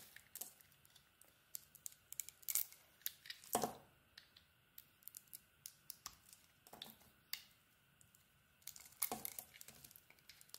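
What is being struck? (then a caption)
Bar of soap carved with a metal blade. A solid soap bar with a white core and a blue snowflake-patterned surface is held in the palm and carved with a metal blade. Quiet, crisp scraping and shaving strokes come as short, bright, dry clicks and rasps, with a few louder cuts. A faint steady tone sits underneath.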